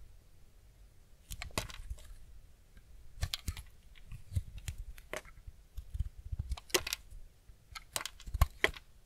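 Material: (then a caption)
Soap. A steel utility-knife blade shaves and scrapes curls off the edge of a small, solid, cream-white block of semi-dry bar soap held in the hand. Short, crisp, dry scraping strokes come in irregular bursts, each with a bright attack and a soft low thud, over a quiet background.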